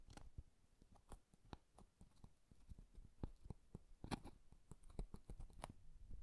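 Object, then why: Small cardboard box covered in paper. A small, empty, hollow cardboard box covered in floral washi paper is held in both hands and tapped and scratched with fingertips and nails. Quiet, dull, irregular taps with a low, hollow body mix with short, dry scratching.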